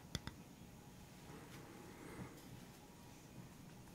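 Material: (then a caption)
Bamboo. Fingertips tap and scratch the surface of a flat, round bamboo board with black feet, held upright. Two sharp, dry taps come near the start, followed by soft, low, continuous scratching with a faint brighter swell partway through. The sound stays quiet throughout.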